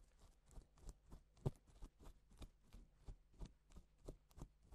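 A gloved fingertip traces letters across pink reversible plastic sequin fabric, scratching and flipping the sequins over to silver. It makes a steady series of soft, dry, quick scratchy rustles with faint clicks, each burst short with almost no ring. The sound is quiet and weighted toward the low end.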